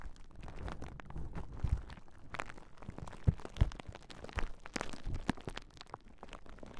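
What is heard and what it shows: A large clear plastic bubble wrap sheet with hollow air bubbles is held taut across Rode NT5 microphones while long nails and fingertips press, scratch and pop the bubbles. The result is a dense, low, crinkly rustle with many short scratches and several sharp, sudden pops standing out above it.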